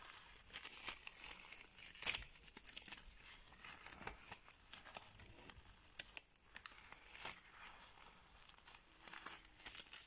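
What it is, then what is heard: Latex surgical glove. A removed thin latex surgical glove is crumpled, squeezed and stretched between bare hands with long painted nails. The result is a quiet, steady stream of bright, crinkly rustling, broken by sharp tacky snaps and pops, with the loudest snap about two seconds in.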